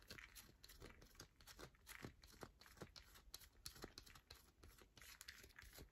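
Long nails scratch quickly across the face of a solid yellow bar of soap held in the palm. The result is a quiet stream of short, dry, crinkly scrapes with bright, hissy edges and brief dull thuds underneath, with each stroke dying away almost at once.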